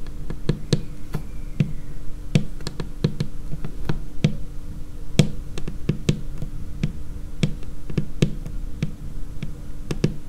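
Long painted nails of both hands tap on a large, solid, dark laminated tabletop. Many quick, irregular taps land as short, dry clicks with a dull low body and almost no ring. A steady low hum sits underneath throughout.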